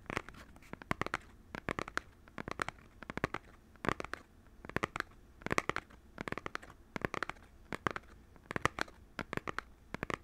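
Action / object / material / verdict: tap / small cardboard box / cardboard / none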